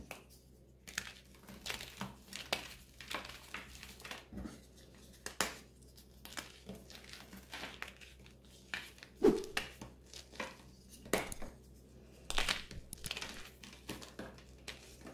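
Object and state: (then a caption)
Gym chalk slab being crushed. Long gold-painted nails and fingertips press into a large, solid, pink heart-shaped slab of reformed gym chalk (magnesium carbonate) lying on loose chalk powder, crushing and crumbling the top surface into flakes and powder. The result is a quiet run of dry, brittle crunches and crinkly crackles in irregular bursts, each with a bright, gritty edge and almost no ring.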